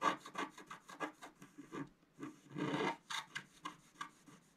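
A wooden stylus scratches a flat black-coated scratch-art card lying on a table in repeated strokes. Thirteen short, dry, rasping scrapes are heard, with one longer scrape in the middle, each carrying a mid-range grainy texture with bright hiss on top.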